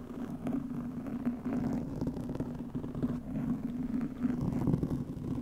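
Long nails of both hands scratch the top of a soft, porous black foam windscreen over a microphone. The result is a steady, low, muffled rustling rumble centred around 200 Hz, with many small scratchy bursts and almost nothing bright.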